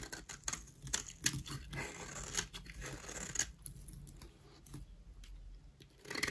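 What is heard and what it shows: A utility knife blade scrapes a solid white rectangular bar of dry soap held in the hand, shaving it into powder. The result is a run of dry, crisp, bright scratching strokes with short crunchy bursts and quieter rasping between them.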